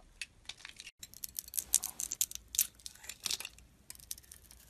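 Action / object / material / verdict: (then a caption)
scrape / bar of soap scraped with a metal blade / soap / none. A solid pink Imperial Leather soap bar with a white core, held in the hand, is scraped by a metal snap-off blade that peels the pink layer off in curls. Quick, dry, bright scraping strokes crackle in a rapid, uneven series, with a brief silence near the one-second mark. The sound is almost entirely high-pitched with no low end and no ring.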